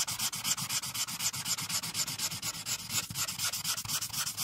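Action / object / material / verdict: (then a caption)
scrape / felt-tip marker on a paper sheet / paper / none. The felt tip of a marker, held in a hand with long decorated nails, is rubbed rapidly back and forth over a printed paper coloring page lying flat on a dark clipboard to color in the teal background. The result is a bright, dry scratching hiss in quick, steady strokes of about four per second, each stopping short with no ring.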